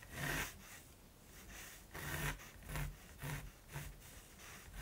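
A mechanical pencil held in the fingers sketches a raven's beak on a gesso-primed linen canvas lying flat and solid on a table. It makes a series of light, dry scratching strokes across the woven surface, each with a bright, raspy texture and a soft low rub beneath it. The strokes are separated by short quiet pauses.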